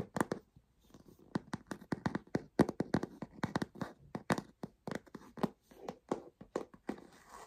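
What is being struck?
Leather handbag base.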